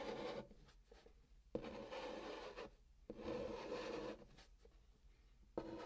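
A hand draws a long pink chalk curve across the top of a hollow brown cardboard box, pressing the chalk in continuous strokes. Four separate scraping strokes are heard as soft, gritty rasps with a mid-range tone, each starting sharply and separated by near-silent pauses.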